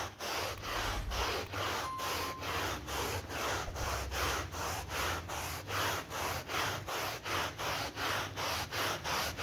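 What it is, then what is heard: Wet synthetic pile rug being scrubbed. A green-gloved hand vigorously scrubs a wet, muddy synthetic pile rug on a terrazzo floor with a yellow bristle brush while the other hand holds the mat in place. Steady, rhythmic back-and-forth strokes, about 2–3 per second, make a bright, bristly swishing rasp over a low rumble.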